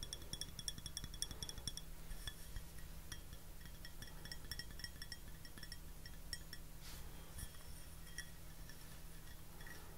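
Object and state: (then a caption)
Porcelain teacup. An empty white porcelain teacup with a rose pattern and gold rim, held upright near the mic, is tapped with fingernails. The taps give many quick, bright clinks with a short ring near 3.4 kHz, thick at first and then sparser. A steady low hum runs underneath throughout.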